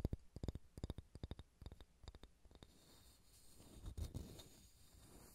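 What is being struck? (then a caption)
Pine wood ball. Fingernails work over a solid pale pine wooden ball, first with a quick run of sharp, dull little taps, then a soft, low, continuous scratching. The sound is quiet and mostly low, with each tap dying almost instantly.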